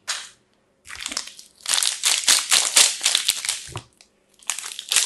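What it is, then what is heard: Plastic film wrap on soap bars crinkled. A pink-striped "fresh" multipack of solid soap bars, still sealed in clear crinkly plastic film, is held in both hands and squeezed and crumpled with fingertips and long nails. Bursts of bright, high crinkling and crackling come in irregular waves separated by brief silences, with almost no low end.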